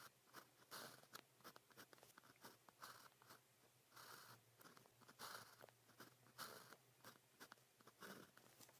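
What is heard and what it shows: A blue plastic ballpoint pen with a metal tip scratches across thin practice paper printed with a red calligraphy grid as it writes characters. The result is a quiet series of short, bright, papery scratching strokes, some drawn out longer, with brief pauses between them over a faint steady low hum.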